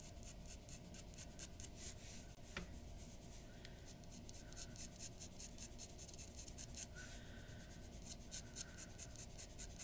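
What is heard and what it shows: A glass dip pen with a metal nib scratches across a large sheet of white drawing paper lying flat on a wooden desk, making short hatching strokes. Quick, bright, papery scratches repeat over a low, steady background hum, staying soft throughout.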